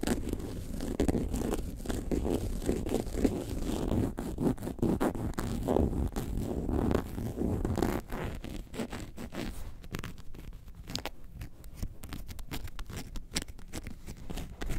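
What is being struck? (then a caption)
Faux leather bag. Long nails scratch and tap the side panel of a hollow, tilted, yellow faux leather bag shaped like a lemonade carton. Dense, rough, low-toned scratching fills the first half, then it turns quieter and sparser, with short dry taps and bright little clicks over a soft rustle.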